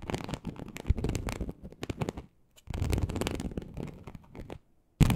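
Very long acrylic nails of both hands scratch a large flat teal snakeskin-embossed leather sheet, likely faux, lying on a surface. Dense, rapid rasping scrapes with a heavy low rumble run in two long bursts separated by a brief pause. A sharp loud scrape closes the clip.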